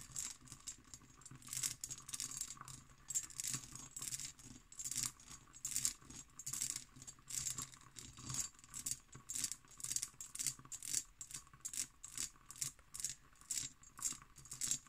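Long green nails tap and scratch an empty, hollow hobnail-pattern cut glass decanter with its stopper. The result is a steady run of quick, bright clicks and scratchy rattling bursts, with a faint high glassy ring that dies away almost at once.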